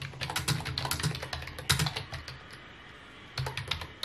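Fingertips of both hands tap rapidly on a full-size white plastic computer keyboard with mint keycaps, resting on a wooden desk. A quick run of short, clicky key taps with a low thud under each press pauses in the middle, then resumes briefly near the end.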